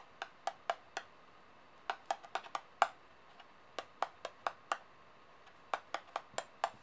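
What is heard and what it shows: Fingers and nails stack solid metal coins on a table and tap their edges. Nineteen short, bright clicks come in loose groups with brief pauses. Each has a faint ringing tone near 780 Hz that dies away almost at once.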